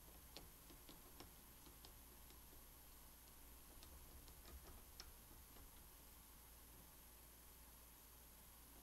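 Fingertips and painted nails of both hands tap and rub the surface of a fully assembled thin wooden jigsaw puzzle, flat and solid, lying on a bamboo mat. Quiet, scattered bright clicks and soft scratches sound over a steady low hum.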